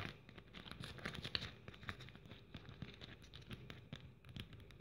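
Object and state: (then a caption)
Glitter-covered bead-trimmed ornament, scratched. Long nails scratch and tap across a handheld blue glitter-covered Christmas ornament trimmed with plastic pearl bead strands, while a red ornament sits untouched nearby. The result is a quiet, continuous crackle of short, bright scratches and rustles, with dense clicks from the glitter and beads and one sharper tick standing out.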